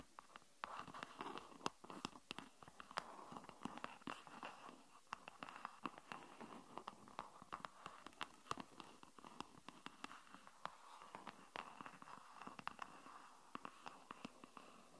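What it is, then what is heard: Silicone phone case with popsocket. Long nails tap and scratch a green silicone avocado-print phone case with a popsocket, fitted on a phone resting on a wooden table. Quick, dry clicks and soft scratchy rubbing repeat steadily, with a muted midrange body around 1 kHz and bright ticks on each tap.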